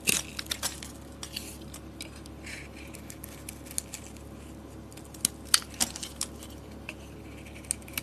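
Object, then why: Bar soap with a thin metallic coating. A box-cutter blade shaves the bronze coating and layers off a solid cream bar of soap held in the hand. Quiet, bright, crisp scraping clicks and ticks come in scattered bursts with almost no ring. A faint steady low hum runs underneath.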